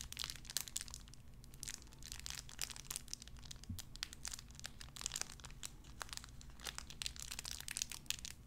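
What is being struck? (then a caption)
Thin plastic wrapper. A small clear plastic bag wrapped around a tiny white figurine is crinkled and squeezed between fingertips with long red nails. Dense, bright crackles and sharp snaps come in quick bursts over a faint, steady low hum throughout.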